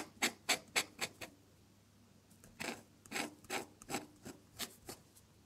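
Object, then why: Drawing paper scratched by a metal dip-pen nib. A metal dip-pen nib scratches across a sheet of drawing paper at close range while drawing red petals. Thirteen short, bright, raspy strokes are heard: a quick run of five, a brief pause, then eight more in an uneven rhythm. Each scratch stops dry with no ring.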